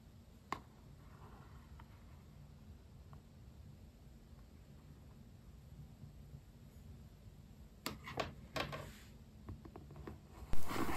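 The glossy vinyl sticker-covered cardboard back cover of a yellow spiral journal, lying flat, is tapped with the tip of a white plastic stylus pen and then with fingertips. Sparse, sharp, bright clicks sit over a quiet low hum, with a cluster of firmer taps near the end and a louder burst of sound at the close.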